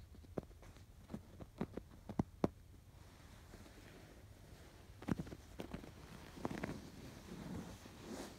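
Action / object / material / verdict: scrape / stuffed pillow with canvas cover and yarn embroidery / canvas, yarn / none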